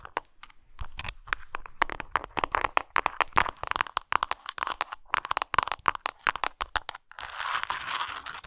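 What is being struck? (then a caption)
Textured plastic pill container. Long nails tap and scratch a textured plastic Tums antacid container. Rapid, crisp clicking taps with dry crackling run through most of the clip, ending in a steady rasping scratch over the final second.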